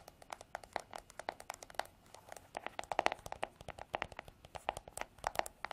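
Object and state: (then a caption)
Plastic hairbrush back tapped with nails. Long artificial nails tap on the smooth, white, hollow plastic back of a paddle hairbrush held horizontally. Quick, dry, irregular clicks with a hollow mid-range tone follow one another at varying loudness, each dying away almost instantly.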